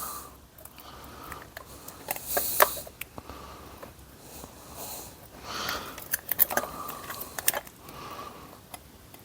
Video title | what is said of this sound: The Game Gear Ultimate Mod Part 6 Assembling Everything | it's definitely glass I can hear the Ting sound from it